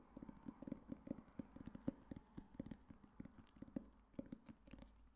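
A solid black hardcover book is tapped with fingertips and nails in a quick, uneven run of about two dozen soft knocks. Each tap is a dull, woody thud centered low around 270 Hz with almost no ring, so it stops almost instantly and has little brightness.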